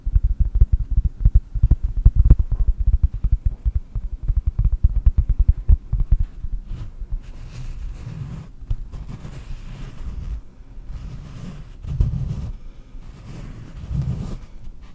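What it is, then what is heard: Cork disc. A round, solid cork disc held in both hands is tapped rapidly with long nails for about seven seconds, giving dull, muffled, low-pitched knocks. The sound then shifts to a softer, continuous scratching rustle with a faint airy top and a few low swells.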